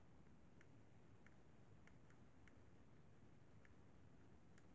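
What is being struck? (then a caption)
Plastic handheld game console. Fingertips and nails tap and scratch the buttons and casing of a hollow, silver-white plastic Sony PSP handheld game console. Faint, sharp little clicks and ticks rise irregularly over a steady low rumble that fills the quiet background.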